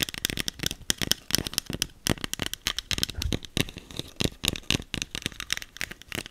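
Long acrylic nails rapidly tap and scratch a small green plastic setting spray bottle with a clear cap, held in the hand. The result is a dense, steady stream of dry, bright clicks and scratchy crackles with no ring.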